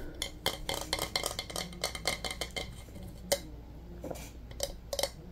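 A white bowling pin with red stripes and a hard, glossy coating is held in both hands and tapped with fingertips and nails. The result is a quick, irregular run of light, dry clicks and taps with a faint mid-pitched tone and bright, crisp edges that die away almost instantly. A few sharper taps stand out over a low, steady background hum.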